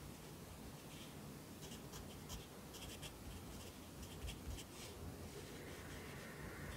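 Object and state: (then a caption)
Pencil writing on a paper notebook page. A yellow pencil writes lines of text on the right page of an open lined paper notebook resting on a desk. Quiet, dry scratching strokes come in short bright bursts over a steady low rumble, with no clear pauses between them.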